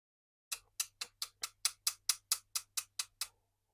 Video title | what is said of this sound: 【ダイソー】異次元の強度！ルアー用コーティング液を徹底解説します。 | この状態でペンチで叩いて強度を見ていきますうっすら傷はきますが塗装が剥がれる ようなことはないですね